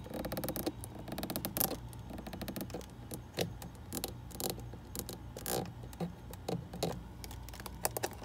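Long red acrylic nails tap on the top and sides of a white plastic screw cap on a white plastic bottle standing in a fridge door shelf. The result is a quick, uneven run of short, dry plastic clicks and taps over a steady low hum.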